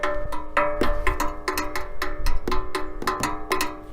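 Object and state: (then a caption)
Metal sports exhaust tailpipe. Repeated taps on the metal tailpipe of an optional £10,200 sports exhaust on a Bentley produce short, bright, cowbell-like clanks with a clear pitched ring around 580 Hz. Each tap decays quickly over a low rumble, and the exhaust sounds good even when tapped.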